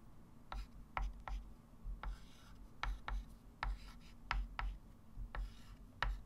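A hand writes digits with a white chalk stick on a small, solid, wood-framed flat chalkboard, making twelve short, dry scratches and taps with bright rasping edges that die away quickly. A steady low hum runs underneath throughout.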